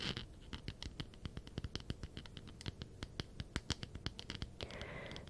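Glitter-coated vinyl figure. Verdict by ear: Rough.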